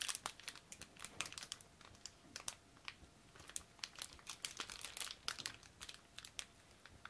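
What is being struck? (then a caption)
Small clear plastic bag of model parts. A small clear plastic bag holding small plastic parts from a Tamiya Mini 4WD Panda Edition model kit is crinkled and rubbed between latex-gloved fingertips over the open kit box. The result is a quiet, steady stream of crisp, bright crinkles and rustles, with short sharp crackles that die away almost instantly and very little low end.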